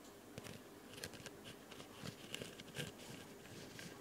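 Long light-colored nails scratch and tap a solid white rectangular foam nail buffer block held in one hand near the recorder. The result is soft, dry scratching and crackly little taps with bright hiss, all quiet over a steady low dishwasher hum in the background.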